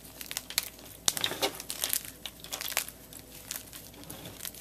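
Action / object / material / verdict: scrape / block of gym chalk (magnesium carbonate) / chalk / none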